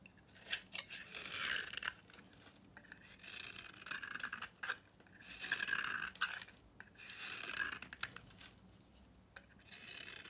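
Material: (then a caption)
Soap. A utility knife shaves curly flakes from a dry, solid rectangular red-pink bar of soap with copper-painted edges, held in the hand. Each pass makes a bright, dry scraping rasp with a crackly texture and a faint tone near 1.7 kHz. The strokes come in irregular bursts separated by short quiet gaps.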